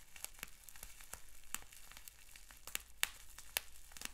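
Fingertips and short nails pinch, pop and scratch a clear plastic bubble wrap sheet with small bubbles. Sharp, bright snaps arrive at irregular intervals over a faint, steady crinkly scratching. Each pop cuts off almost instantly with no ring.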